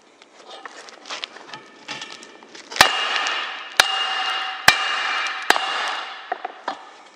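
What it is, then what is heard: Hot steel pipe struck with a hammer. A hollow steel pipe with a red-hot, flattened end lying on a concrete block is struck by a red-headed hammer. After some soft scraping and light taps, four sharp metallic blows ring out, each leaving a bright, high ringing tone. The sound grows harder as the steel cools.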